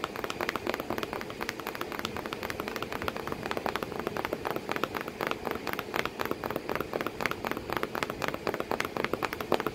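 Long painted nails tap and scratch rapidly on a hollow corrugated cardboard box flap, with crumpled kraft paper behind it and a cat sitting inside the box. The dense, dry clicks and scrapes give a steady crackling patter with a papery mid-range body and brief bright edges that die out almost instantly.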